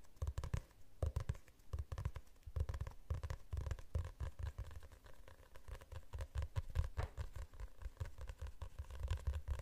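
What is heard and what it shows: Fingertips and nails tap and scratch the cover of a glossy hardcover book held in front of the face. The result is a quick, soft patter of dull, low-pitched taps mixed with faint scratching.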